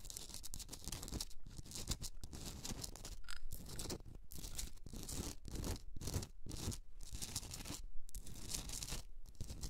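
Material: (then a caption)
Rock salt. Long red nails scratch the sides of a hand-sized pink Himalayan salt rock candle holder standing on a fur rug. Gritty, bright scraping comes in rapid bursts with short gaps, over a low rumble throughout.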